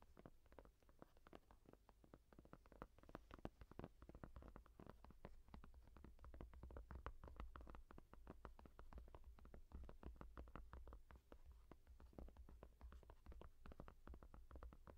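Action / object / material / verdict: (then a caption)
tap / foam rubber tablet case back / foam rubber / none. Long dark-painted nails tap and scratch across the honeycomb-patterned back of a yellow textured foam rubber case on a small tablet held upright. A dense, irregular stream of soft, muffled taps and brief scratches runs steadily for the whole clip, each dying away almost instantly, over a constant low hum.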